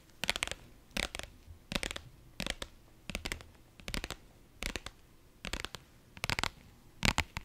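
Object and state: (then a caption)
Vinyl pouch scratched with nails. A medium-sized pink iridescent faux-leather zippered pouch, soft-sided, is held in both hands near the mic and scratched and tapped with long nails. Quick clustered bursts of bright, crinkly scratching and tapping repeat about every second or so with short gaps between them. The sound is dry, with almost no ring.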